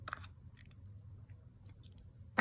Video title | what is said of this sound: Scented Wax 2.0!! - Randa's Crafty Corner | if you want to know if it's if it's hard enough you should be able to bang on it with your nail or your finger and hear that sound